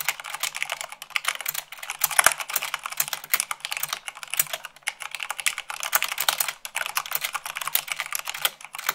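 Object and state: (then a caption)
Plastic mechanical keyboard being typed on. Long acrylic fingernails type fast, at about 98 words per minute, on a full-size mechanical keyboard with white plastic keycaps on a black base. A rapid, continuous stream of sharp, bright plastic clicks and taps rattles on with almost no low end, each keystroke dying away almost instantly.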